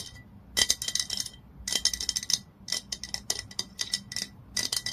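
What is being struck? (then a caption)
Glass olive oil bottle. Long nails tap quickly on the body of a glass olive oil bottle lying on its side. The taps come in rapid clustered bursts of bright, dry clicks with almost no ring, over a faint, steady high tone.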